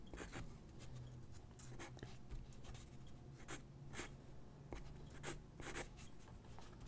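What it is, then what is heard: Paper sheet being sketched on with pencil. A graphite pencil sketches on a single white paper sheet lying on a wooden desk, its tip scratching across the paper. Short, bright, dry scratchy strokes come in quick bursts of varying length over a steady low hum, all at a quiet level.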